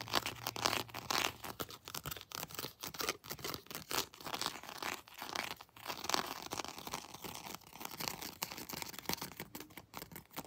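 Long nails scratch and tap the textured plastic legs and feet of a plastic Predator action figure held close. The sound is a quiet, irregular run of dry, bright scratches and short clicky taps, with almost no low end and a faint low hum in the first second.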